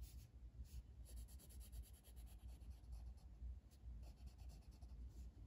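A blue wooden colored pencil, held in the fingers, rubs shading strokes across the flat paper page of a coloring book resting on a table. Soft, continuous scratchy strokes repeat at an uneven pace over a low, steady rumble, with faint bright hiss on each stroke.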